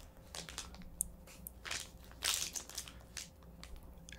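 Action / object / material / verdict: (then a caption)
scrape / thin clear plastic cookie wrapper / thin plastic / none. A small, thin, clear plastic wrapper around a flat round baked sable cookie is held and crinkled between the fingertips of both hands. Bright, crackling crinkles come in uneven bursts, loudest in a dense rustle midway through, over a faint low hum.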